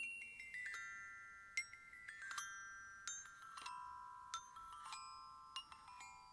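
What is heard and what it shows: Aluminium glockenspiel bars are struck with a yellow plastic-headed mallet in a quiet series of separate strikes. Each strike rings out with a clear, bright, sustained bell-like tone that overlaps the next. The notes step down in pitch from about 2.1 kHz toward 1 kHz.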